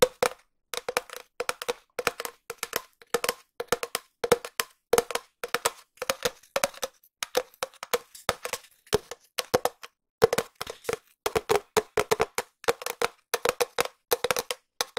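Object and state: Hollow cardboard tube tapped with nails.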